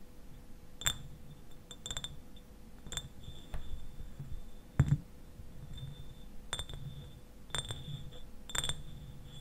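Fingernails tap the sides of a clear glass eyewash bottle that stands upright and is partly filled with liquid. Light, scattered clinks each carry a brief, bright glassy ring that dies away quickly, over a low background rumble and a faint steady hum.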